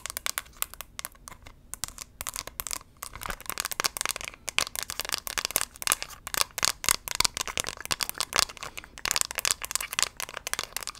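A small, hollow pink-and-white hard plastic compact shaped like a character head is held in both hands and tapped with long pink acrylic nails. Quick, bright, crisp clicks come in dense, uneven bursts with short pauses. Each tap is dry, with no ring or low thump.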